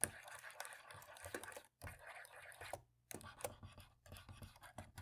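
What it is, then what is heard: Plastic laptop keyboard. A cotton swab scrubs the gaps between the black plastic keys on the right side of a dirty laptop keyboard. Quiet, dry scratching and rubbing come with frequent light ticks and taps, broken by two brief pauses of near silence.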